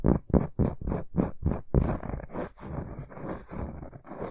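A large, round, flat, solid cork board is gripped in both hands and scratched and rubbed with short fingernails and fingertips. Seven quick, evenly spaced rasping scratch strokes are followed by a steadier stretch of rubbing. The sound is dry and low-heavy with a faint bright hiss on top.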